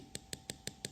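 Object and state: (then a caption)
Hardened dental filler on turtle shell, solid. Five sharp, dry knocks tap on a repaired patch of a turtle's shell filled with human-grade dental filler cured by a UV torch. Each is a brief, hard click with almost no ring. The filler has set super hard and adhered well, as if that part of the shell was never gone.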